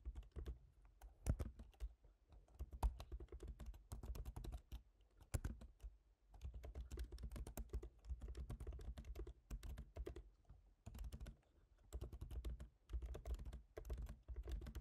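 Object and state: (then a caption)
Laptop keyboard being typed on. Both hands type rapidly with their fingertips on a MacBook Pro keyboard, black plastic keycaps set in a silver aluminum body. Dense bursts of short, dry key taps with a soft low thump come in runs separated by brief pauses, each tap dying away almost instantly.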